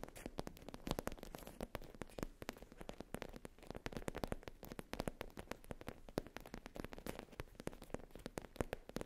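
Long nails tap and scratch across the top of a soft, flat black faux leather zip pouch with an embossed logo. The result is a quiet, rapid stream of short, dry clicks with soft scratchy rustling between them, mostly low and muffled with little high brightness.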